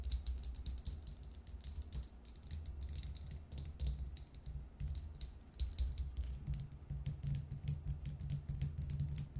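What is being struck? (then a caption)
Glass jar of seeds tapped with fingernails. Long nails tap rapidly on a glass jar about two-thirds full of small brown seeds, standing upside down on its metal lid. The result is a steady stream of quick, bright clicks that die away almost at once, over a constant low rumble.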